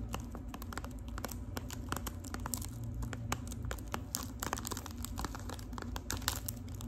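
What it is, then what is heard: Foil-wrapped tea box, tapped and scratched. Long pink acrylic nails tap and scratch the crinkly gold foil wrapping of a boxy, hollow Lipton tea package held close up. Rapid, dense clicks and crinkles run throughout over a steady low hum.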